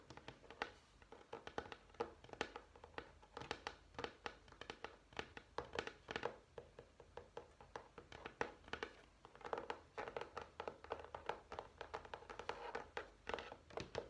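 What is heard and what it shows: A dark grey textured, tile-effect vinyl flooring sample page in a sample book, a thin solid sheet resting on a stack, is tapped and scratched with fingernails and fingertips. Quick, dry, quiet taps and clicks come in a steady uneven stream with short scratchy rasps between them. The sound is mid-pitched and dies away almost instantly.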